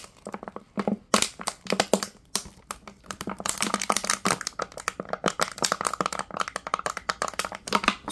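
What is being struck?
Thin-walled plastic water bottle.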